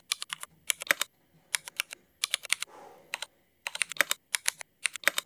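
Fingertip typing with both hands on a Cherry MX mechanical keyboard with black ABS plastic keycaps produces 28 sharp, bright clicks in quick bursts with very short decay. Around the middle there is a brief pause filled by a soft, wider rustling hiss.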